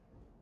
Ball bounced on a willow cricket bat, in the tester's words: just pinging off of it definitely i would say this is due to the craftsmanship this is due to the willow